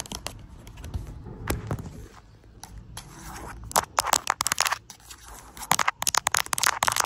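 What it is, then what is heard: Plastic lotion tube tapped with nails. Long acrylic nails tap and scratch along the side and back of a pink plastic cosmetic lotion tube, hollow and filled with product. Soft, grainy scratching fills the first half, then gives way to clusters of sharp, bright clicking taps that die away almost instantly.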